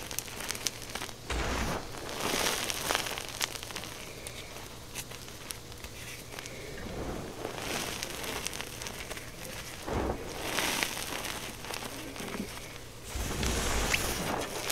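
Fingertips and long nails press, scratch and rub through a loose pile of crushed white gym chalk powder, with no other object involved. The result is a dense, irregular crackling and crinkling texture with soft crunchy bursts and bright, hissy detail. Louder swells of rubbing come around two seconds, ten seconds and thirteen seconds.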